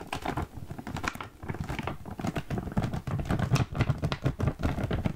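A full green printed plastic foil snack bag is held up close and handled with fingertips and long nails. It gives off a dense run of quick crinkles, taps and scratches, low-weighted with short bright crackles, continuing steadily for about five seconds.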